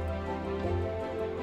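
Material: Nothing is struck.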